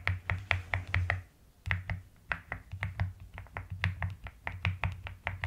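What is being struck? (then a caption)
Plastic mechanical keyboard. Fingertips and long nails type rapidly on a white-cased mechanical keyboard with pastel plastic keycaps. Quick, closely spaced keystrokes each pair a deep low thock with a sharp, bright click that dies away almost at once. A short pause interrupts the run about a second in.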